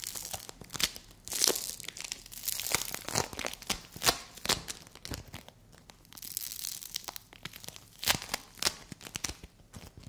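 A palm-sized yellow dome of play foam made of small polystyrene beads, solid and soft, is pressed and torn apart by fingers with long white nails. It gives dense, bright crackling and tearing with sharp crunchy pops and almost no low end. The bursts rise and fall across the clip.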